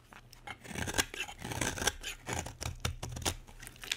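A metal utility blade carves a solid, dry green bar of soap held in a hand with long red nails. A rapid series of crisp, bright scraping and cutting strokes is heard, each short and dry with almost no ring, over a faint low hum.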